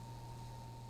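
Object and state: Nothing is struck.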